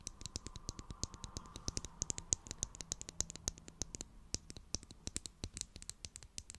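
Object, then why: Plastic glue stick tube. A small hollow purple Pritt glue stick with a plastic tube and cap is held close to the mic and tapped and scratched with long glittery acrylic nails. Quick, sharp plastic clicks come in a fast, irregular stream, bright and dry with almost no ring, over a faint scratchy hiss.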